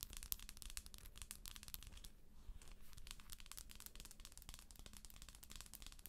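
A hollow plastic galaxy moon lamp is held in both hands while long acrylic nails tap and scratch its shell. Quick, dry, bright clicks and scratchy crinkling come in a dense, steady stream over a low, quiet rumble, with each tap dying away almost instantly.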